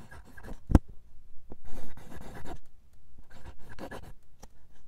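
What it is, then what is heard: Steel pen nib scratching on paper. A steel fountain pen nib, held in the fingertips, writes cursive words in dark green ink on a single sheet of lined paper. Light, soft scratching strokes come in bursts with brief pauses, and one sharp tap stands out near the start.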